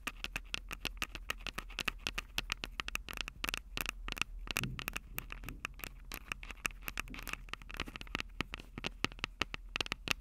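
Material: Plastic, metal.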